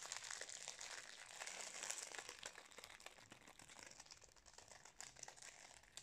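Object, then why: Metallised plastic snack wrapper. Fingertips squeeze and crinkle a wrapped Napolitain cake in its metallised plastic snack wrapper held close up. Dense, bright crackling and rustling runs continuously with irregular sharp snaps, concentrated in the high range with almost no low end, and fades slightly toward the end.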